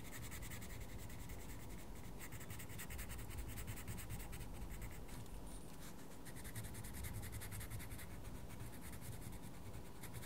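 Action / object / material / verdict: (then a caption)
scrape / coloured pencil on a paper colouring book page / paper / none. A wooden coloured pencil colours in a mandala on the page of a small paper colouring book with steady scratching, rubbing strokes. The quiet, continuous scratching carries a low rumble underneath and bright, rapid grainy stroke texture on top.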